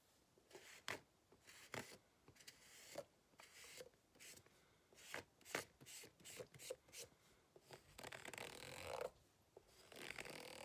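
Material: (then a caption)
Rubber. A white plastic fork scratches the ribbed lower surface of a green ribbed rubber hot water bottle lying flat, hollow and apparently empty. Short, bright, raspy scrapes come in quick bursts with small gaps between them. Near the end they blur into a longer, steady scratching.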